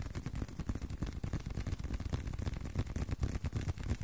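A leather card wallet is tapped by hand in a quick, somewhat uneven stream of soft, dull taps, about three per second. The sound is low and muffled with almost no bright content, and each tap dies away almost at once.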